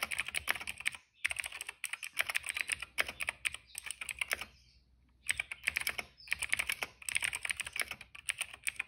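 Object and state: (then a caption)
Plastic mechanical keyboard. Fingertips type on a retro-style cream plastic mechanical keyboard with black, purple and yellow keycaps. Rapid bursts of crisp, bright clicky keystrokes come in runs separated by short pauses, with one longer quiet gap near the middle.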